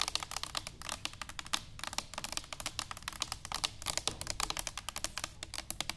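Long nails tap rapidly on an upright, hollow stainless steel cylinder canister. The result is a quick, uneven run of sharp, bright clicks that die away almost instantly, with a faint metallic ring underneath and very little low end.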